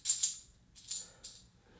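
Metal board game coins, shown as bonus pieces, are shaken and clink together in a few bright, jingling bursts. The clinks are high and ringing with short decays, and the coins rattle softly between bursts.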